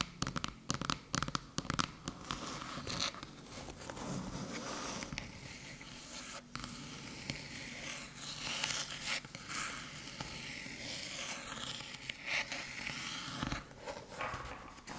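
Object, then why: Small aluminium USB-C hub. Long metallic-polished nails tap and scratch the top of a small, flat, hollow aluminium HooToo USB-C hub with a cable, lying on a dark table. Sharp clicks come thick and fast over continuous bright scraping and rasping. The taps die away almost instantly with no ring.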